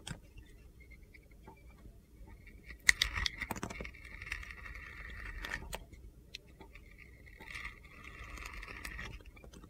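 A utility knife blade scrapes strips off a handheld solid red glitter soap bar with star studs. Soft gritty scraping and crunching run through the clip in two longer strokes with a bright rasp, mixed with a few sharp ticks and taps.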